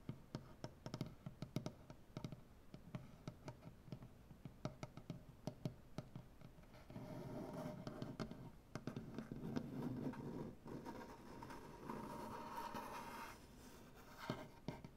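One hand with medium-length, black-painted nails taps quickly across a large, solid, light maple butcher-block tabletop, making short, dry, low wooden knocks for the first several seconds. Then the nails scratch and rub the wood in longer, steady stretches of grainy noise, broken by a few more taps, with a final cluster of taps near the end.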